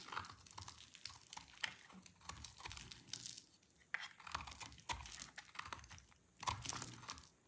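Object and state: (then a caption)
Dry soap bar being shaved. A small black-bladed knife shaves and scrapes curls off a solid, hand-sized bar of dry orange soap held in hands with red-painted nails, the shavings piling up below. The result is a steady run of dry, crisp scraping and crackling with frequent sharp, bright snaps. The sound is quiet overall, with little low end.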